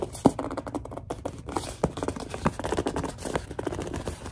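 A large white plastic Suave lotion bottle is squeezed, gripped and tapped with long dark nails. A dense, irregular stream of short plastic taps, crinkles and scratchy grip sounds follows, sitting mostly in the low mids with little high content.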